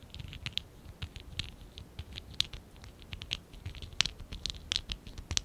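A small, hollow stack of lilac and dark blue ABS plastic Lego Classic 11017 bricks is held in both hands while fingertips and nails scratch and rub its surface. The result is a quick, irregular run of short, dry, bright scratches and ticks, peaking around 3 kHz, over a faint low rustle, with each sound dying away almost instantly.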